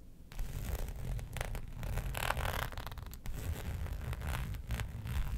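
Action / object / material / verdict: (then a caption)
scrape / embossed faux leather sheet / faux leather / none. Long nails scratch the raised hexagon texture of a flat black embossed faux leather sheet resting on a fur rug. Steady, dry rasping strokes come in bright, zipper-like bursts over a low, muffled rumble, running almost continuously with short dips between strokes.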